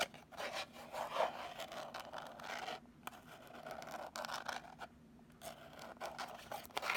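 Long nails scratch and rub across the surfaces of a small, hollow, purple rigid cardboard gift box. The result is a quiet, dry, raspy scratching in uneven strokes with brief pauses between them, centered in the mids and reaching up into bright, papery highs.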